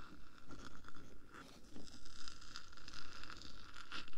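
Long painted nails tap and scratch along the top of the hollow, roughly palm-sized black metal body of a 3Dio binaural microphone. The result is a steady run of soft, rounded taps and scraping strokes with a low rumbling body and brief, quickly fading bright clicks.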